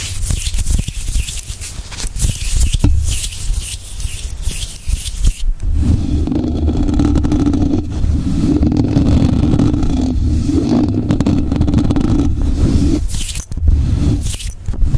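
Fingertips and short nails of both hands scratch and rub the bare, hollow, rounded wire-mesh grille of a large USB condenser microphone. Bright, crackly scratching rides over deep, boomy thumps for the first few seconds. Then a steady, low humming rub carries on until the sharper scratching returns near the end.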